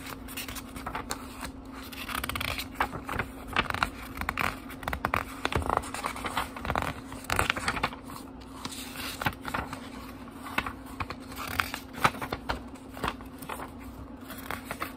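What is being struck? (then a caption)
Small paper book pages. Fingertips turn the printed paper pages of a small book one by one, each turn giving a crisp, dry rustle and soft scrape. The page sounds come in quick bursts over a steady low hum.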